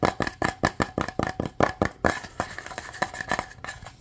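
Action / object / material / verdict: tap / small wooden box / wood / none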